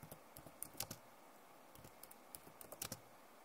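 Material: Plastic.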